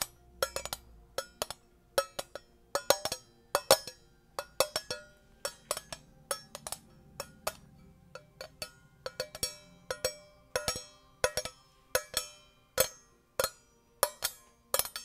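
A small, round, shiny, hollow metal tin lid is held up and tapped and scratched with long painted nails. Dozens of quick, sharp clicks and taps, irregular and often in pairs, each ring briefly with a bright metallic tone around 540 Hz. Faint scratching sounds come between them.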